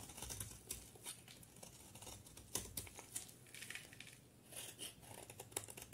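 A solid white soap bar with blue edges, held in one hand, is shaved with a utility knife blade into crumbly flakes. The sound is a quiet series of dry, bright scraping and crackling cuts, with short sharp ticks and little ring between strokes.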